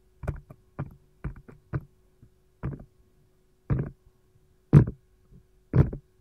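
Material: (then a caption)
Silicone. Long gold nails tap and scratch around the rim and wedge-shaped compartments of an empty, hollow, round green silicone ice tray shaped like a lime slice. About fourteen soft, dull, low thuds come at an uneven pace, each dying away almost at once with a short scratchy rustle. Quiet gaps separate the taps, and the last few land a little harder.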